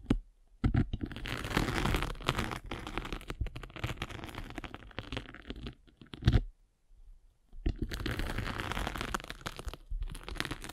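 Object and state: Foam sanding sponge.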